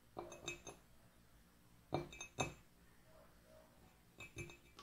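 Long nails tap the outer wall of an empty, hollow white ceramic mug with gold lettering, standing on a wooden table. The taps come in three loose clusters of bright, glassy clinks with short ringing tones, separated by quiet pauses.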